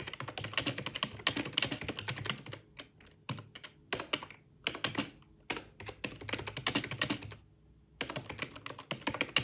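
Fast typing with the fingertips of both hands on a black, full-size, hollow-bodied plastic Microsoft wireless ergonomic keyboard, while the mouse sits idle. Bright, crisp key clicks come in rapid bursts separated by brief pauses, with very little low end and almost no ring after each keystroke.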